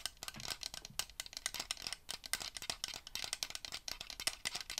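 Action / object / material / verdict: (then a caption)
tap / small hollow plastic ring light / plastic / none. A small hollow plastic LED ring light, held in both hands, is tapped and scratched with fingernails. It makes a quick run of dry, bright clicks and scrapes with almost no low end and very short ring. The effect is a close, rattle-like patter.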